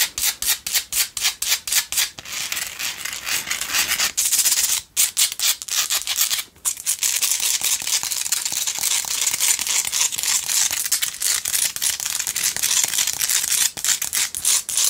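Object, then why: Rock salt tealight holder. A hand-held pink Himalayan salt single tealight candle holder is scratched rapidly with long nails. It makes a dry, bright, hissing rasp that starts as quick separate strokes and then blurs into a nearly continuous scrape, with brief pauses and a faint background.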